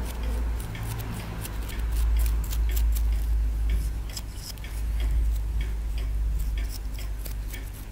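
A wooden stick repeatedly scrapes and picks at a small solid plaster dig block held in the fingers. Short, irregular, bright scratchy ticks sit over a steady low hum.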